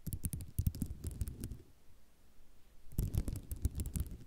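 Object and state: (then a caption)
Ceramic mosaic tile sheet. Long nails tap and scratch across a flat sheet of many small white square ceramic mosaic tiles lying on black cloth. Quick, dull clicking taps come in two bursts, with a quieter scratchy stretch between them. The sound is mostly low and thumpy, with brief bright ticks on each tap.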